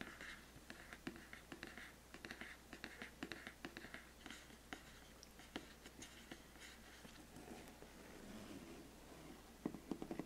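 Fingertips and painted nails scratch and tap along the surface and edges of a large, flat, hollow black printed cardboard biscuit gift box lid. Quiet dry scratching strokes mix with short, sharp taps that die away almost instantly, with a band of brighter scratch noise in the upper mids. Near the end, several louder, crisper taps cluster together.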